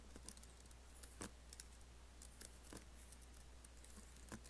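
Fingertips and nails tap and type rapidly on a MacBook laptop keyboard with black plastic keys in an aluminum case. Quiet, bright, short clicks come at uneven intervals over a steady low hum.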